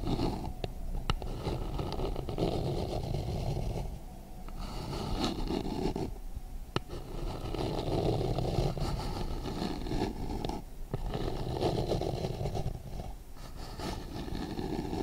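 Long nails tap and scratch the sides and base of a hollow white plastic bowl held upside down in both hands. A steady, low-heavy scraping rustle is heard, dotted with quick light taps and a few brief quieter pauses.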